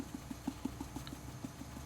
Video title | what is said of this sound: Weighting your Reborn doll limbs tutorial - Nikki Holland vlog #137 | you can actually hear it as well going into those toes which is good which is where you want it